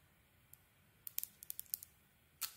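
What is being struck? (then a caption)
Soap bar. A metal blade shaves the outer layer off a solid oval turquoise Babydream soap bar held in the palm. About ten quiet, crisp, bright scraping clicks come in a quick cluster, then one longer rasping scrape at the end.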